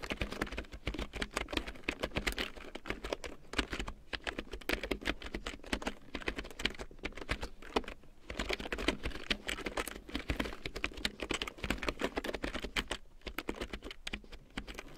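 A full-size large print keyboard with a black plastic frame and big yellow plastic keycaps, lying on faux fur, is typed on with long painted nails and fingertips. The result is a steady, rapid stream of short, bright plastic clicks and taps with very little ring, over a faint low hum.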